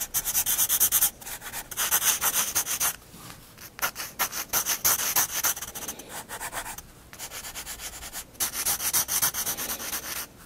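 A black graphite pencil held at a low angle shades steadily across a drawing in a spiral-bound paper sketchbook lying flat on a wooden desk. The lead makes bright, dry scratching and rubbing strokes in quick, uneven back-and-forth bursts, with a few brief pauses between passes.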